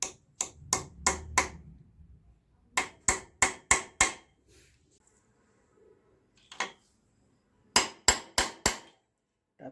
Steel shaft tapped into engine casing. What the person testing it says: Tap it till the bottom until you hear that solid tuck tuck noise.